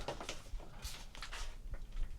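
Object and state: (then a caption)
Antenna section, no rattle (tight). A metal and fibreglass vertical section of a Moonraker SQBM1000P MKII 50/144/430 MHz tri-band base antenna is shaken as a rattle test, giving only soft, dull low thuds and light brushing sounds. No rattle is heard, so the section passes as tight.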